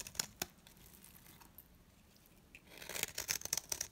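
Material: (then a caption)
Soap. A metal blade shaves long curls from the face of a solid, dry, round green soap bar held in hand. Two sharp, dry ticks come early, then a quiet stretch, followed by a dense run of crisp, bright scraping crackles toward the end. The sound is mostly high-pitched, with almost no low end and very short decay.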